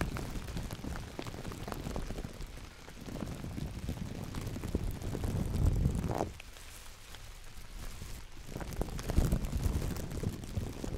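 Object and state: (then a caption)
Plastic bag crinkling. A large, thin, empty, clear plastic bag is scrunched and cupped in black-gloved hands close to the microphone, giving a dense, steady crinkling and crackling with a heavy low rumble. The crinkling eases into a quieter stretch around the middle, then picks up again toward the end.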